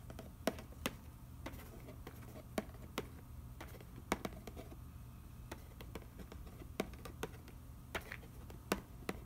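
Fingertips tap and trace across the nutrition panel on the back of a cardboard macaroni and cheese box lying on newspaper. Sharp, dry taps ring out briefly and irregularly, with a soft scratchy rustle of tracing between them. A steady low hum runs underneath throughout.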